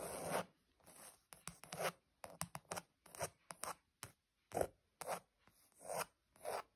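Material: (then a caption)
Leather. Long pointed nails scratch a flat, padded covering of cream grained leather or faux leather. They make about seventeen short, dry, rasping strokes in an irregular rhythm, separated by near silence. Each stroke is a midrange scrape with little low end that stops almost as soon as the nails lift.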